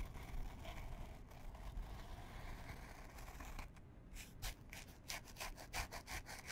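Long fingernails scratch a small printed canvas fabric pouch held in both hands. A steady, rough rubbing over a low rumble gives way to a quicker run of bright, raspy scratch strokes in the second half.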